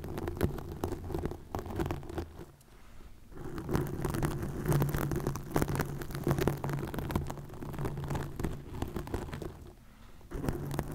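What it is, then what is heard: Plastic mesh net scratched over a microphone. Long nails scratch green plastic netting stretched over a microphone, making a dense run of rough, crackling scrapes with a low hum underneath. The scratching pauses briefly around the third and tenth seconds before resuming.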